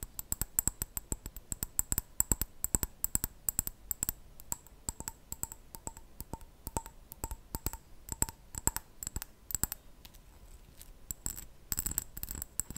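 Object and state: Glass jar.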